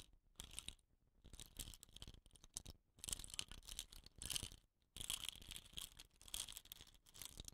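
Fingertips scratch and rub along the hollow, painted tube of a bamboo rain stick with a rattan end cap. The result is quiet, dry, scratchy rustling in uneven bursts with short pauses, bright and hissy, with a peak around 3 kHz.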